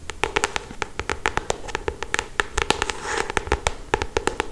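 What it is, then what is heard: Paperback book tapped with fingernails. Long acrylic stiletto nails tap and scratch across the glossy paper cover of a solid paperback novel. A quick, uneven run of short, dry, bright clicks sounds over a soft papery hiss, with a brief scratching swell near the three-second mark.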